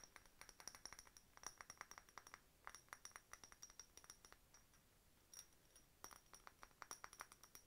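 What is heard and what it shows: Long nails tap a hollow, empty, faceted clear glass decorative bottle with a bird stopper and a key charm. Quick, light glassy clinks come in uneven bursts, each with a bright, high ring that dies away almost at once. There is a short pause just before the tapping picks up again.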